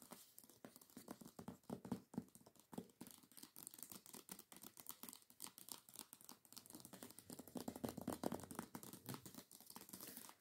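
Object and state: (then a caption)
Hardcover book with paper dust jacket. Long nails tap rapidly and scratch across the glossy paper dust jacket of a hardcover book lying flat. The quiet clip is a dense, uneven run of short, dry clicks with bright, papery scratching between them, growing slightly fuller and louder toward the end.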